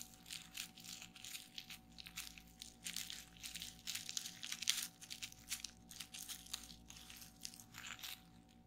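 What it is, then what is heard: Plastic bubble wrap being popped. Fingertips with long painted nails rapidly press and pop the air-filled bubbles of a flat sheet of clear plastic bubble wrap lying on a table. A fast, uneven stream of crisp, bright snaps and crinkling crackles is heard, each pop dying away almost instantly, with almost no low-end body. The sound stays quiet and busy throughout, thinning slightly toward the end.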